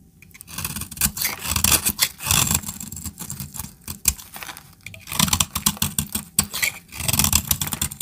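A knife blade scrapes curls and flakes off a solid brown bar of dry soap held in the hand. Dense, bright, crackly scraping strokes come in bursts with brief pauses between them, each carrying some low rumble beneath the crisp high rasp.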